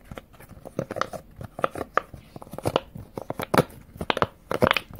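Fingertips press and pop the hollow silicone bubbles of a square rainbow silicone push-pop fidget toy, row by row, held close up. The result is a quick, uneven series of short, dull pops and soft crinkly clicks, mostly midrange with a little bright snap. Each pop dies away almost instantly with no ring.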